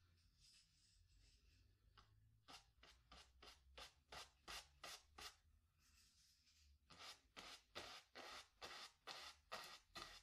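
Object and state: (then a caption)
Brush strokes on stretched canvas. A wooden-handled bristle brush scrubs and dabs black paint onto a small stretched cotton canvas on a wooden stretcher frame, hollow behind. Soft, continuous bristly scrubbing gives way to two runs of quick, rhythmic, bright swishing strokes, about 18 in all, separated by a quieter stretch of light rubbing.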